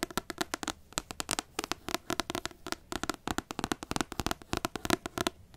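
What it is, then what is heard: Paperback book. Long nails rapidly tap and scratch the glossy card front cover of a large, solid paperback book, making about three dozen sharp, dry clicks with brief scratchy rasps in between. Each tap is crisp and bright with almost no ring, over a hollow low-mid body.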